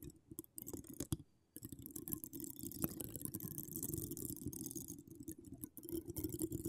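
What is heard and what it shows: Long decorated acrylic nails scratch and tap the hollow woven metal mesh head of a microphone. Dense, continuous scratching mixed with sharp taps produces a low, thick rumble under a bright hiss, broken by a brief near-silence early on.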